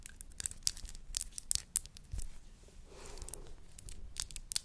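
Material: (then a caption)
Glass. Long nails tap and scratch along a tall, narrow, hollow clear glass bud vase with a dark base, which appears empty. Sharp, bright, high-pitched clicks are scattered throughout, with a softer, breathy scraping stretch in the middle.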